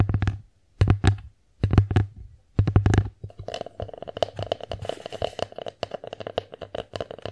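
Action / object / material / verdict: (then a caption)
tap / wooden divided plate / wood / none. Long nails tap rapidly on the front and rim of a bear-shaped, solid-wood divided plate. Early on, the taps come in short dense bursts separated by silences, each with a low hollow thump around 100 Hz. Later they give way to continuous quick, light clicking with a steady mid-range ring.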